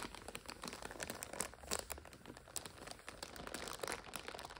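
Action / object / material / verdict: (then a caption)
scrape / plastic multipack of instant noodles / plastic film / none. A full plastic multipack of instant noodles is turned from lying flat to upright on its side while long nails scratch and crinkle the wrapper. Dense, bright crinkling and scratching runs throughout, with a few sharper crackles standing out along the way.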